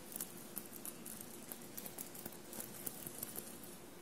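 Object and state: Sequin-covered fabric shirt.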